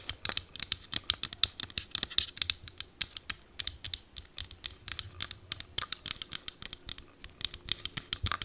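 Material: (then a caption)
Plastic. A small green plastic e.l.f. setting mist bottle with a clear cap is held close and tapped and scratched with long green acrylic nails. Dozens of quick, dry, bright clicks and short scratches come in a steady, uneven patter, each dying away instantly with almost no low end.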